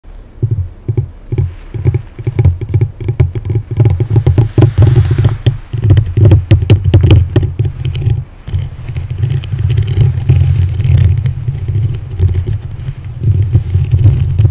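Long yellow-painted nails on both hands scratch and tap the rounded, hollow metal mesh grille of a black condenser microphone. The result is a steady run of deep, boomy thumps and scraping rumbles, almost all low in pitch, with quick, clicky taps layered over continuous rubbing. The sound swells and dips in short bursts across the clip.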